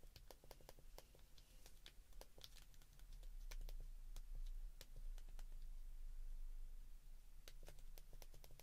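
Fingertips press the keypad buttons of a white plastic flip phone, giving a quick, uneven run of sharp, bright clicks over a steady low hum.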